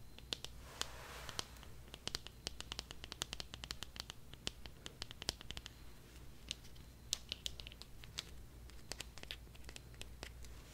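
A small pink pig-shaped Tokidoki vinyl figure, likely hollow, is held in both hands and tapped and scratched with long dark-painted nails. Dozens of quick, bright clicks and scrapes sound over a steady low hum, along with a faint crinkle from its tag.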